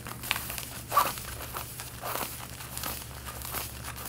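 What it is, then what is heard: Denim jeans. Long painted nails scratch over the stitching and fabric of the back pocket on snugly worn, light-blue cotton denim jeans. The scratching is a dry, crinkly rasp in uneven bright strokes, with a louder scrape near the one-second mark, over a faint low steady hum.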